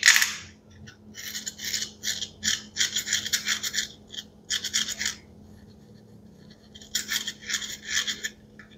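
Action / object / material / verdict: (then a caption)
scrape / small plastic toy pea pod with velcro fastening / plastic / none. A small hollow green plastic toy pea pod, cut into two halves joined by white velcro pads, is held in both hands with the fingertips while the halves are pressed together and pulled apart. Bright, crackly velcro rips and plastic rubbing come in rapid bursts after a sharp opening rip. A quiet pause follows, then another run of rips.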